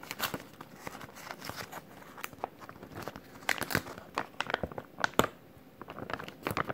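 Fingers crinkle and crumple a clear plastic zip-lock bag, a thin-film resealable bag with a green tab. The result is a continuous run of sharp, dry crackles and crinkles, with brighter, louder bursts toward the middle and end. The crackles are mostly in the mid and high range with very little low end.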